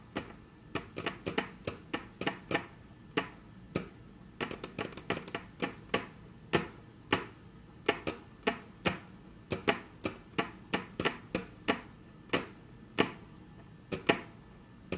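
Very long natural nails tap on a flat, solid, dark brown wood-grain tabletop, producing about forty short, dry, bright clicks. The taps come in an uneven rhythm, sometimes in quick clusters and sometimes spaced apart. Each one dies away almost instantly over a quiet background.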